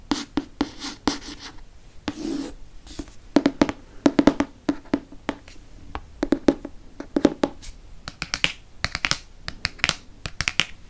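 Long nails tap quickly on the glossy cardboard front cover of a dark hardcover paper book with a hippogriff on it. The result is a rapid, uneven series of short, dry clicks, each with a faint hollow tone around 290 Hz that dies away almost instantly.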